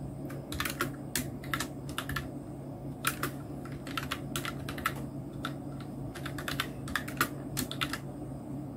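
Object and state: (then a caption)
Plastic mechanical keyboard. Fingertips of both hands type on a full-size black plastic mechanical keyboard (Nubwo Illusion NK-70 with Outemu red switches), which has round plastic typewriter-style keycaps and a blue backlight. The result is a steady run of quick, bright, clacky key taps in irregular bursts, each dying away almost instantly, over a constant low hum.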